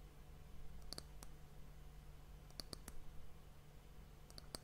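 Long fingernails tap the round, solid, polished dark wooden end cap of an hourglass held close to the mic. Sharp, dry clicks come in small clusters over a steady low hum, each dying away almost instantly.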